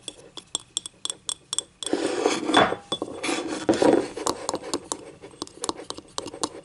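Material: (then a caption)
Ceramic. Fingernails tap and scratch a small, hollow, empty yellow ceramic cup with paint stains inside, lying on its side, working over its rim and inner wall. Quick, bright clinking taps open the clip, then a steady raspy scratching swells through the middle before the crisp taps resume.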